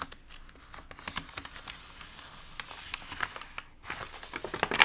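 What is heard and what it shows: Fingertips and palms of both hands rub and press the wrinkled pages of an open, water-damaged glossy paper magazine, then turn one page over. The result is soft, bright crinkling and crackling with short sharp snaps scattered through a quiet background, growing a little louder toward the end.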